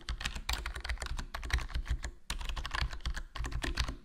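Continuous fingertip typing on a HyperX Alloy Core RGB plastic membrane gaming keyboard with a foam mod, black plastic body, black plastic keycaps and a hollow case. Rapid, soft, muted key presses with a deep low thump and light clicky highs come in bursts with brief pauses.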